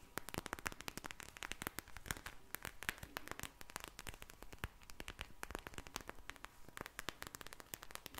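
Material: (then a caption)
Vinyl. A soft pink vinyl gel bead eye mask filled with beads is held close to the mic and tapped and squished with long nails and fingertips. A dense, steady stream of quick, crisp clicks and crackles plays at low volume, each snap bright and very short, giving a static-like fizz throughout.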